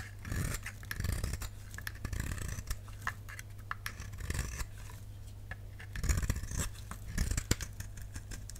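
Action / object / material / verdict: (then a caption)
scrape / bar soap / soap / none. A utility knife blade scrapes and carves a solid, dry, dark purple bar of soap held in the palm, shaving off slices. The sound is a run of quick, dry scratching and scraping strokes over a low, steady hum, with louder clusters of cuts near the start and end.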